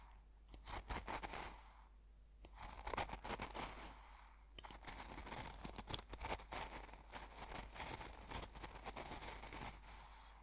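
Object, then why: Coarse salt in a glass jar, stirred with a metal fork. A metal fork repeatedly stabs and scrapes the coarse salt crystals in an open small glass jar full of coarse salt. Dense, dry crunching and gritty scraping clicks fill the clip, coming in bursts with brief pauses between them, and the sharp transients reach into the bright high range.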